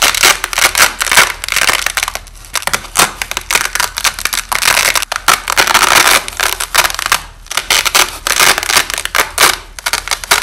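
A white nylon hook-and-loop (Velcro) strip is held in both hands as its hook and loop layers are torn apart, with the audio slowed down. Repeated crunchy, crackling rips come in bursts, bright and hissy with almost no low end and quick, dry decays between pulls.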